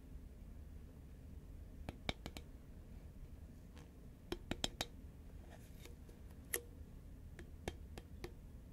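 Long nails tap the side of a green Pringles cardboard can, first while it is tilted and then upright. About thirteen short, sharp, bright clicks come in scattered clusters over a quiet, steady low hum, each dying away almost instantly.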